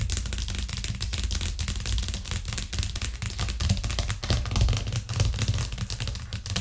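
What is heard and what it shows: Long nails tap quickly and hard on a white plastic cutting board with green edges that rests flat on a cork trivet. The result is a dense, steady stream of sharp, bright clicks over a hollow, low thump, with each tap dying away quickly.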